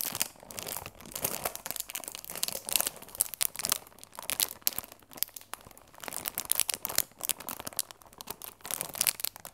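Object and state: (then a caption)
Cellophane-wrapped cardboard box being crinkled. Long red-painted nails and fingertips rub and scratch the clear plastic film sealing a closed, medium rectangular cardboard Bonomelli chamomile tea box, likely full of tea bags, held in both hands. Dense, bright crinkling and crackling come in rapid, uneven bursts that rise and fall in waves, with almost no low end.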